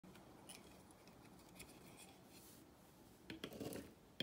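A solid oval turquoise bar of dry vintage soap, held by hand at a table, has its edge scraped and cut with a thin metal blade, shaving off brittle curls. Quiet, dry scratching and faint crisp flicks build to a louder, brighter burst of scraping near the end, closing on a sharp click.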